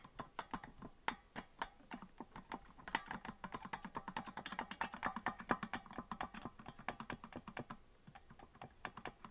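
Fingers rapidly tap the plastic keys of a green, hollow plastic melodica that is not being blown, producing a fast run of short, dry clicks. The clicks are quiet, with a mid-range body and a brief bright edge, and they die away almost instantly with no tone sounding.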